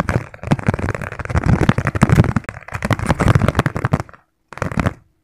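Fingertips and nails tap very rapidly on the outer base and rim of a round, hand-sized, hollow yellow plastic bowl or lid held upside down in both hands. The result is a dense, continuous stream of short, dry, hollow clicks with a low body and brief bright edges. The tapping pauses for a moment near the end, then resumes in a short final burst.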